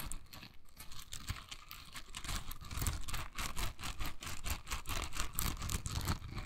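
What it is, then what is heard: Silicone bristle scrubber. Long nails scratch and flick the dense soft bristles of a hand-sized pink silicone scrubber held in the hand. The result is a rapid, irregular run of short, dry scratchy flicks with bright crackling edges over a soft low rumble, each flick dying away almost instantly.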